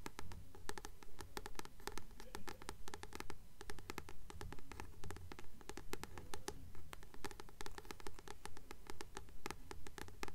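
Long nails scratch the glossy card front cover of a blue paperback book with a glossy paper cover, a solid paper book held upright. The nails make a strong, steady, rhythmic scratching in quick repeated strokes, each with crisp bright clicks over a low rumble.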